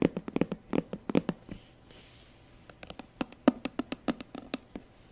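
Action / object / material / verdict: tap / patent faux leather handbag / faux leather / none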